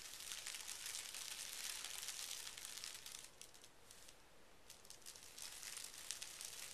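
A large flat sheet of thin pink tissue paper lies on carpet while one hand rubs and scratches it with fingertips and short nails. Continuous bright, dense crinkling and scratching rustle dips quieter for about a second near the middle, then returns to full texture.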